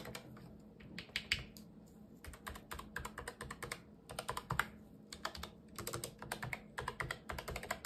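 A full-size black Razer Deathstalker V2 Pro low-profile wireless keyboard with plastic keycaps, unwrapped and lying on a white table, is typed on with the fingertips of two gloved hands. Quick, bright plastic key clicks come in rapid bursts with brief pauses, each press dying away almost instantly over a faint steady low hum.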